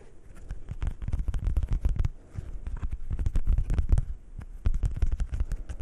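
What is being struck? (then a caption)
Thin coated paper playing card. A single thin coated paper playing card from the heart suit, held in both hands in front of the microphones, is scratched and tapped with fingernails. It makes a rapid, dense run of short, dry, crackling taps that sound deep and muffled, with almost all the energy low in the bass. The taps come in busy bursts with brief quieter dips around the middle and just past two-thirds through.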